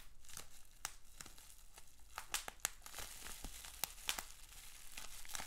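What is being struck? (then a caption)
Plastic bubble wrap sheet. A rolled sheet of clear plastic bubble wrap with small bubbles is held in both hands while the fingers twist and crinkle it. A steady bright crinkling rustle runs throughout, broken by scattered sharp, very short snaps and crackles.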